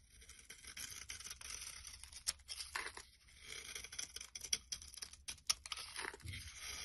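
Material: Glycerin soap.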